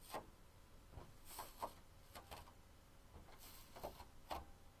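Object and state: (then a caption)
Onyx stone bowl. Long pink nails and fingertips tap and scratch on the rim and inside surface of an empty, hollow onyx stone bowl. Quiet scraping and rubbing is broken by several sharp, short clicks with a brief ring around 945 Hz and a bright hiss on top.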